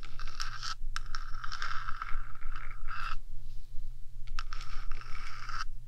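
Long nails scratch the top surface of a 3Dio microphone's metal housing, first with one hand and then with both. Dense, bright rasping scrapes come in bursts with short pauses, over a steady low hum.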